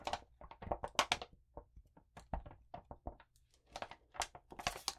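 A sheet of lined notebook paper coated with blue glitter is rubbed flat under a palm and long nails, then held in both hands and crinkled. Quiet, bright, gritty scratches and crackles come in short irregular bursts with small gaps between them. A faint low hum sits underneath throughout.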